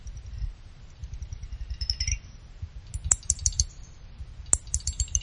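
A small pick clicks and scrapes along the side fins of a small finned aluminum CPU cooler heatsink. Short, bright metallic ticks come in uneven bursts, with a brief scraping sweep, over a soft low rumble. Each click dies away almost instantly.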